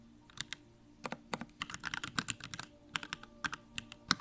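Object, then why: Mechanical keyboard with plastic keycaps. Fingertips of both hands type on a backlit Bakeneko65 mechanical keyboard with plastic keycaps and Durock Lavender switches. The result is a quick, irregular run of short, bright clacks with almost no ring, over a faint steady low hum.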